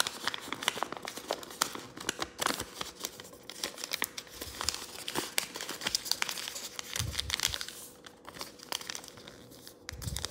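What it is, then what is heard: Thin origami paper being folded. A thin sheet of pink origami paper is pinched, folded and creased mid-fold by fingertips, then flattened on a wooden table. There is dense, bright crinkling with many sharp, crisp snaps over a faint steady low hum. A couple of soft, low thumps come near the end as the sheet is pressed flat.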